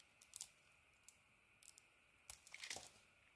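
A metal blade shaves and cuts thin pieces from the edges of a solid, hand-sized orange bar of soap that is held in one hand and already partly carved. Quiet, bright, crisp scraping and cutting sounds come in short bursts with almost no low end, the last bursts running closer together.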